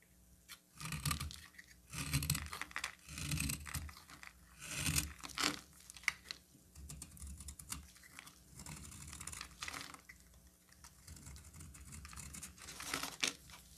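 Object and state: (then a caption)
Bar of soap being carved. A solid pink bar of soap is held in the hand and carved and scraped with a utility knife blade, with shavings falling away. Dry, crisp scraping and crackling strokes come in bursts, some longer and rasping, some short and clicky.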